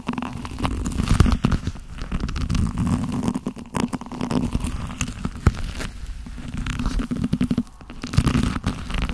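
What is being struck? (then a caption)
Leather gloves. Black leather-gloved hands are rubbed together and the fingers squeezed close to the camera. The result is a dense, low, rumbling friction sound with frequent short creaks and crackles that rise and fall in loudness throughout.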